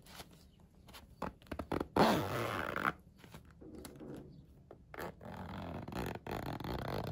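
Fingertips slide the blue plastic coil zipper of an iridescent, holographic mermaid-scale faux-leather vinyl pencil case, resting on a windowsill, open and closed. Short, rasping zip bursts alternate with quiet gaps, and a longer, louder run near the two-second mark gives way to softer, steadier zipping.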